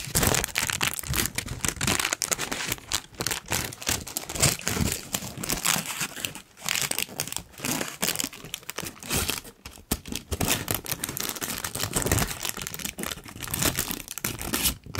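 A large, thin, wrinkled pink tissue paper sheet is held overhead and crinkled and rubbed with the fingers. The result is a dense, continuous run of bright, crackly crinkling and rustling with short bursts and brief quieter dips, stretching across the full clip.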